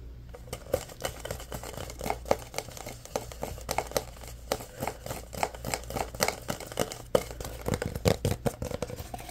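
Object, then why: Plastic drink bottle with label. A full orange Prime plastic bottle is held up in both hands while fingernails tap and scratch its plastic label. The result is a quick run of sharp, dry clicks and crinkly scratches with a slightly hollow plastic tone, over a steady low hum.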